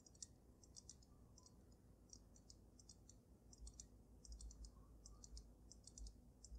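Long nails rapidly tap the sides of the glass dome of a water-filled dragon snow globe. The result is quiet, bright, short clicks in irregular clusters over a low, steady rumble.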